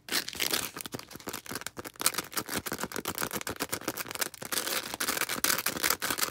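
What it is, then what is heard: Foam sponge. A small star-shaped, green porous foam sponge is scratched with long red acrylic nails. The result is a fast, continuous run of bright, crackly scratching and rustling with sharp little bursts. There is almost no low end.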